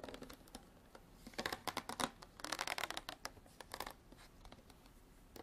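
A clear ridged plastic water bottle with an orange cap, partly filled with water and held sideways, is scratched and tapped along its ridges with long black artificial nails. The result is a quiet, uneven run of dry, bright clicks and scratchy rasps, with a denser flurry in the middle. Each sound dies away almost instantly.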